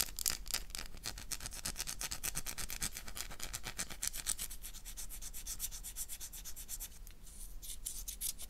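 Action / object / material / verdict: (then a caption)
scrape / solid bar of soap / soap / none. A solid oval black bar of soap, held in the hand, is scratched and scraped with long nails. The result is a steady run of rapid, slightly irregular scratchy strokes, bright and hissy on top, with a soft low rumble underneath. The scratching thins out briefly near the end before picking back up.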